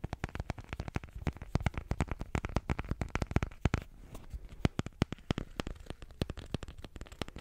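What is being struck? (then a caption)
Small painted canvas on a wooden frame. Long fingernails tap and scratch across the taut fabric of a small square painted canvas of a sky and meadow on a wooden frame. The result is a dense, irregular run of quick, dull taps with very short decay, mostly low in pitch, with soft scratchy rustling between them.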